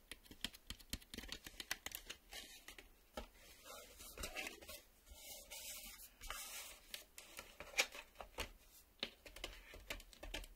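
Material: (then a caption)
Plastic. A black plastic VHS cassette is held and then laid on a table while fingertips and nails tap on its face. The result is a quick run of light, bright plastic clicks and ticks, mixed with brief scratchy scraping and no talking.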